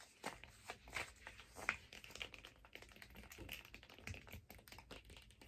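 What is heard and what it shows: A long, hollow, empty teal hard-plastic figure skate blade guard, held upright and horizontally, is tapped and scratched with long nails and fingertips. Quick, irregular, bright plastic clicks mix with a dry, scratchy rasp. Each tap dies away almost at once.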